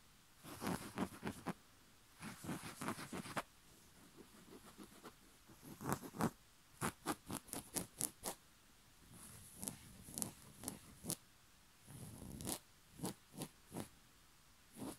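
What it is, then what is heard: Cotton bed sheet being scratched. A white rose-print cotton bed sheet is scratched with the fingertip and nail of one finger, giving dry, papery scratches with bright hiss. Long rubbing strokes alternate with quick separate flicks, each cutting off sharply into near silence.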